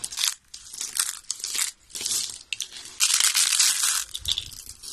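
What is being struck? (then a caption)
Soap shavings. Solid brown dry soap flakes, lying beside a rolled soap spiral, are broken and crushed between the fingers and in handfuls. The result is bursts of dry, bright crunching and crinkling with almost no low end, separated by short quiet gaps.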